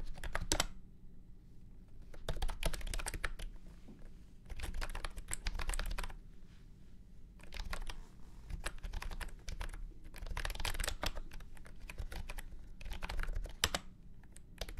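A full-size beige and orange plastic retro keyboard with round keycaps and a hollow body rests on a felt mat and is typed on with fingertips. Quick runs of key presses come in several bursts separated by short pauses. Each press gives a short, dry clack over a deep, hollow low thump.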